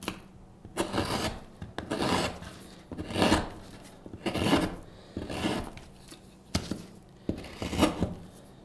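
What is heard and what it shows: A steel hook knife, held in a gloved hand, carves the bowl of a solid light-wood spoon blank in repeated scraping strokes. About eight separate rasping, woody scrapes are heard at an uneven pace, each a broad, bright shaving sound that stops short with quiet gaps between.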